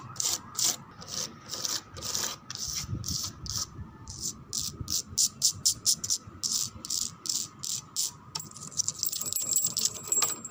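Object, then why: Wooden door. A wooden door is tapped and scratched in a steady series of short, crisp strokes. Each stroke gives a bright, hissing rasp with very little low end.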